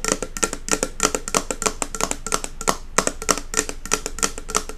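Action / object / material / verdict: tap / glass jar candle with metal lid / glass / none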